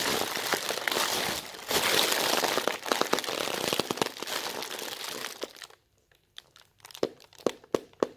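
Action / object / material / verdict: scrape / thin plastic bag / plastic / none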